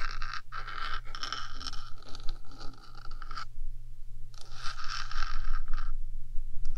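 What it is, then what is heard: Metal microphone body scratched with nails. Long nails scratch and tap across the top of a black hollow metal 3Dio microphone body. The result is a bright, rasping scrape broken by short taps, with a steady low hum beneath it. The scraping stops briefly near the middle, then starts again.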